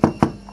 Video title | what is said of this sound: HBX RAMPAGE : le meilleur rapport qualité prix | c'est du plastique ça sonne creux